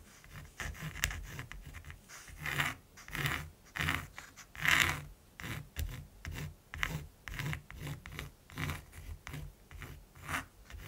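A mechanical pencil scratches quick hatching strokes across a large, flat primed canvas with a textured surface while drawing a raven. A steady series of short, dry scratching bursts follows, each with a bright, gritty rasp over a faint low rumble, separated by brief pauses.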